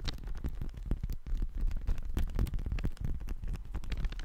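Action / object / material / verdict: scrape / thin paper sheet / paper / none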